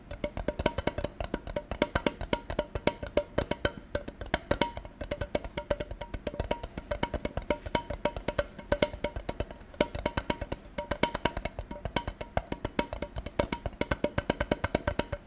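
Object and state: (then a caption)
Tin container. A gold metal tin container is tapped rapidly and steadily with light, dry taps. Each tap carries a short tinny ring around 590 Hz that dies away almost at once.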